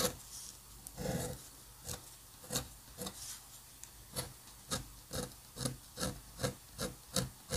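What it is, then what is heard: Paper drawing sheet. A steel-nib dip pen scratches across a flat sheet of white drawing paper covered in ink spatter, drawing lines while staying in contact with the paper throughout. Short, dry, raspy strokes repeat in an irregular rhythm, each with a bright scratchy edge and a faint low body. The strokes stop quickly, with quiet gaps between them.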